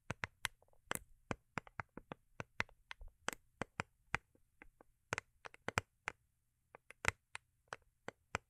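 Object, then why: Small foil-covered cardboard gift box. Long acrylic nails tap a small, rigid, hollow cardboard gift box with a holographic foil-paper covering, held in the hands. About 26 sharp, bright, dry clicks come in an irregular rhythm, each dying away almost instantly, with a few softer, fainter taps between them.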